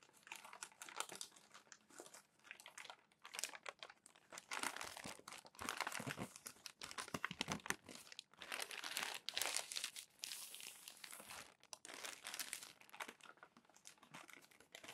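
Fingertips turn the pages of a crumpled glossy paper magazine and press them down, producing bursts of bright crinkling and rustling. The crackly sounds come in uneven waves with short quiet gaps between them.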